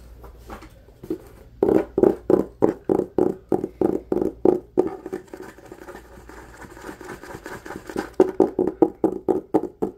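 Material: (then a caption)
Cloth, board. Fingertips and nails rub and scratch the textured cloth cover of a solid, medium red hardcover book, which is then held edge-on. Quick, dry, midrange scratching strokes come in a fast, fairly uneven rhythm, easing into softer, denser rubbing in the middle before loud, rapid strokes return at the end.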